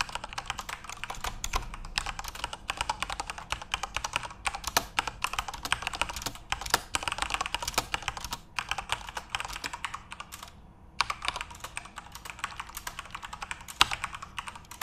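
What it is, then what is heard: Plastic mechanical keyboard. Fingertips type steadily on a full-size RGB-backlit Corsair mechanical keyboard with plastic keycaps, producing a fast stream of short, bright clicky keystrokes. Typing pauses briefly near the eleven-second mark, then resumes, with occasional louder, sharper key presses.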